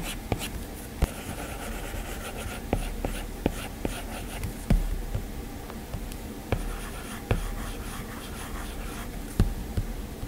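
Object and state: Stylus on a glass tablet screen.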